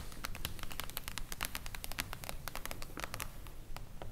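Long blue acrylic nails on both hands tap quickly on a solid, silver reflective-foil hardcover book lying flat. The taps are dense, irregular, and crisp, with brief bright clicks over a low, steady rumble.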